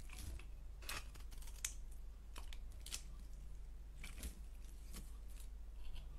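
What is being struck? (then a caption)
Bar of soap cut with a blade. A solid orange-striped bar of soap, held in the hand, is carved with a blade into curls. Soft, crisp scraping strokes repeat steadily, each a short bright shave over a low, steady background hum.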